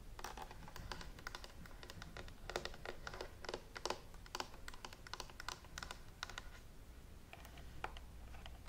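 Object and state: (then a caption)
Plastic steam iron tapped with fingernails. Long nails tap and scratch along the handle and dial of a green and white plastic clothes steam iron with a hollow body, held up close. Quick, dry, bright clicks come in uneven bursts over faint scratching and a low background rumble. Each tap dies away almost at once.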